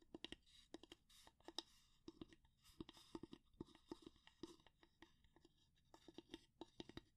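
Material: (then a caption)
Wood. Long nails scratch and tap along the handle and head of a solid, light wooden spatula, giving about two dozen quiet, dry, bright clicks and scrapes. Each one is short and crisp, with almost no ring, and soft scratchy rustling fills the gaps between them.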